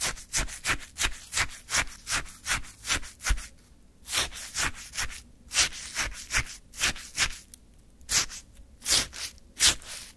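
A wooden stick scoops and lifts icy orange sherbet from a small paper cup. About fifteen crisp, bright scraping crunches follow in a fairly quick but uneven rhythm, with a short pause near the middle and little low-end weight.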